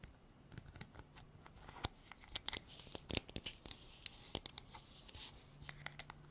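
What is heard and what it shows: Long nails tap and scratch a white hollow plastic container with a textured, ribbed lid. The result is a quiet, uneven run of sharp, bright clicks and short scratchy rasps, with a faint low hum underneath.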